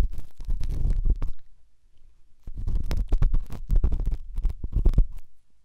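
A silver pen tip rubs and scratches inside the ear canal of the right white silicone dummy ear on a binaural microphone. It makes dense, muffled, deep rumbling scrapes with almost nothing bright. The scratching pauses briefly in the middle, then resumes in quick bursts before trailing off.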